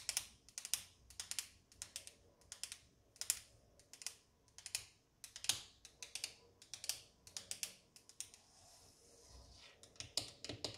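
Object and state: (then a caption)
Laminate countertop tapped with fingernails. Long orange acrylic nails of one hand tap and drum on a flat, solid wood-grain laminate kitchen countertop, making bursts of crisp, high-pitched clicks. The clicks are sharp and dry and die away almost instantly. Near the end there is a brief, softer continuous rustle before the tapping resumes.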